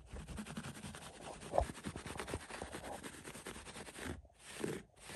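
Fingertips and nails scratch through the pile of a thick green-brown synthetic shag carpet on the floor. It makes a steady, quiet, dry rustling scratch with a bright hissy top and a low rumble underneath, with one sharper, louder scratch early on. Near the end there are two short breaks where the sound drops out before the scratching resumes.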